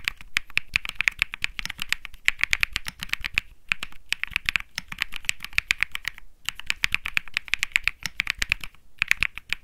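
A compact 65% mechanical keyboard with beige and grey plastic keycaps is typed on continuously by fingertips. Rapid, sharp clicky keystrokes come in dense bursts with brief pauses, with a bright, crisp tone centered around 2.3 kHz and very short decay on each press.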